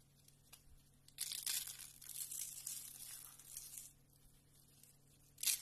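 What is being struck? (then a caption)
Soap curls and shavings. Fingertips squeeze and crush a pile of thin, brittle, cream-colored dry soap strips rolled into hollow, rose-like spiral curls, with flat shavings around them, so the curls crumble and crunch. After a quiet start with faint ticks, a dense, bright, crackling crunch runs for nearly three seconds and then fades. A short, sharp crunch bursts in at the very end.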